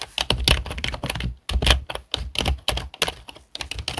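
Fingertips of both hands type on a full-size black plastic HP desktop keyboard with hollow plastic keys. Rapid, uneven runs of hollow plastic clacks mix a low thump with bright clicking, and each keystroke dies away almost at once, with brief silent gaps between bursts.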